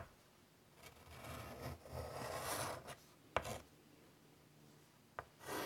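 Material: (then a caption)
Chalk, slate. White chalk scratches curly lines across the surface of a large, flat, wood-framed chalkboard. Soft, raspy scraping strokes swell and fade over the first few seconds, broken by sharp, bright taps of chalk meeting the board. A fresh scratch starts at the end.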